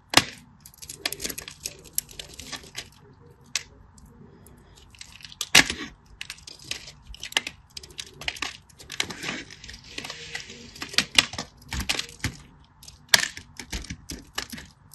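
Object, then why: Solid bar soap. A solid green bar of soap, held in the fingers, is carved into cubes and thin slices with a craft knife. Many sharp, crisp scratching and cutting clicks and soft crackles come in quick irregular bursts, bright and dry with almost no ring or low end.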